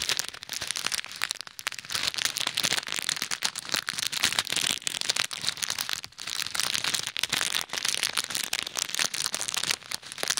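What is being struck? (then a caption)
Plastic bag filled with plastic pearl beads. Fingertips with short nails pinch, rub and knead a small clear plastic bag full of pink and white plastic pearl beads resting over a pair of ear microphones. The beads rattle and click inside the crinkling plastic in a dense, continuous stream of bright, high crackles with almost no low end.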